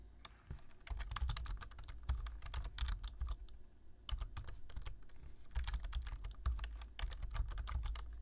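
Fingertips type on a black plastic low-profile computer keyboard, producing rapid, dry clicks in quick bursts with brief pauses. Each tap gives a short, bright click that stops almost instantly, over a steady low thudding hum underneath.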